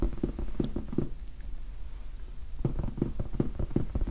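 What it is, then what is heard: Foam sponge die. Quick fingertip taps patter on the faces of a large red foam sponge die, giving soft, muffled low thuds with almost no ring. The tapping runs in bursts, pausing briefly in the middle before picking up again.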